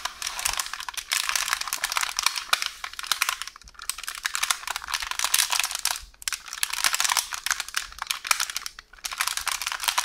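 Long orange nails tap and scratch a rolled-up roll of beige baking paper resting on a counter. Crisp, bright clicks and papery crinkles come in dense, rapid bursts, with brief pauses of near silence between them.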